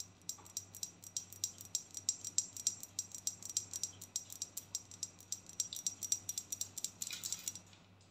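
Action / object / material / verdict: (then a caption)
tap / glass perfume bottle / glass / none. Long painted nails tap a flat, hand-sized, filled rectangular glass perfume bottle with pink and white stripes and a pink cap. A quick, steady run of dozens of light, bright clicks follows, each one very short with almost no ring. Only a faint low hum sits underneath.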